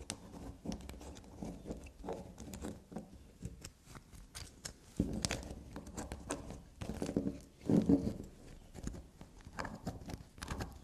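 A small solid black soap bar lying on a fabric surface is tapped and scratched with long black nails. The result is a dense run of soft, dull taps and scratchy scraping that stays mostly low and muffled, with brief crisp edges. Slightly louder bursts of scraping come around the middle and near the end.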